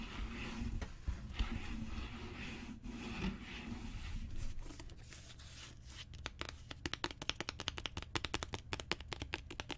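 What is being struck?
Leather-bound book cover.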